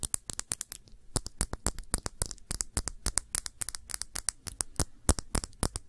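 Long nails rapidly and irregularly tap and scratch the glass body of a round glass perfume bottle with a blue cap, partly filled with blue liquid. The result is a dense stream of short, dry, bright clicks and scrapes that die away almost instantly.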